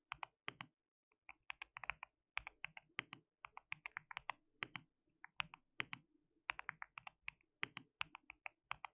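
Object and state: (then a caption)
Mechanical keyboard with plastic keycaps. Fingertips of both hands type continuously on a white mechanical keyboard with plastic keycaps. The result is quiet, bright, clicky keystrokes in quick bursts separated by brief pauses, each click short and dry with almost no low end.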